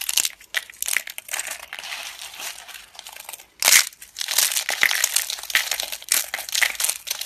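Thin, brittle, dry yellow laundry soap slices are picked up and crumbled between fingertips with long red nails over a pile of soap flakes. Dense, bright crunching and crinkling continues throughout with a sharp, louder snap near the middle, carrying almost nothing in the low end.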